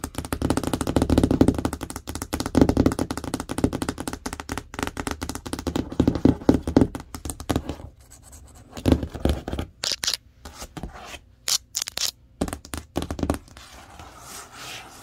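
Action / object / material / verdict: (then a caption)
tap / large cardboard box / cardboard / none. Long nails tap quickly on the printed panel of a large, hollow printed cardboard TV box, making dense, rapid hollow thuds with a low-mid tone for about eight seconds. The tapping then thins into sparser, separated taps and brief brighter scratchy bursts, each dying away almost at once.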